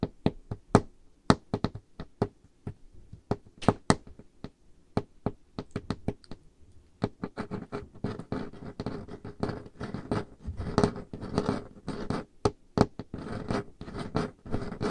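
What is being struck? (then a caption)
Wooden table top. Dark-painted fingernails tap and scratch the top of a large, solid, dark-stained wooden table. Sharp, separate knocks with a low woody thud and quick decay fill the first half. The second half turns into denser scratching mixed with taps.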